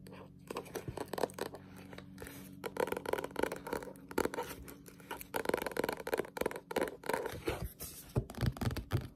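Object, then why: Paperback book, paper pages with a glossy card cover. A Berserk paperback manga, a solid paper book with a glossy cover, is held in the hands and tapped and scratched with long pointed nails. Fast, irregular taps sound as dull, short clicks mixed with light scratching. A faint steady low hum runs underneath.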